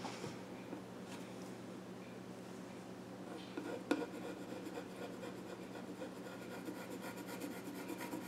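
A pencil scratches sketch lines across the flat top of a small wooden child's stool. The result is a quiet, steady dry rubbing and scratching with a low hum underneath, and a single sharper tick near the middle.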